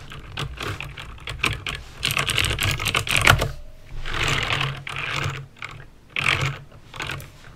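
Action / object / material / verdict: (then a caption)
tap / plastic mechanical keyboard / plastic / none. Fingertips with painted nails type slowly on a full-size backlit mechanical keyboard with plastic keycaps and clicky green switches. Sharp, bright clicks come in irregular bursts and clusters, each with a low thock underneath, and short quiet gaps fall between runs of keystrokes.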